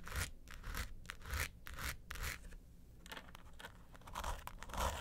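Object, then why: Hard plastic vanity case. A small, hollow, closed mint-green vanity suitcase with a quilted hard plastic (ABS) shell is scratched and tapped on its quilted top and sides by long acrylic nails. Bright, broadband scratching strokes come in irregular bursts, with low, hollow thumps underneath from the shell.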